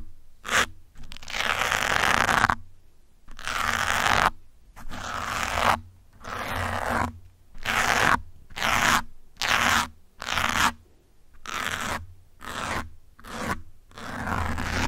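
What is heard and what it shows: Fingertips holding metal pins drag and scratch across the top of a grey foam windscreen on a black microphone. The result is a series of broadband, crackly scraping strokes, some long and some short and quick, separated by brief silences and reaching bright highs.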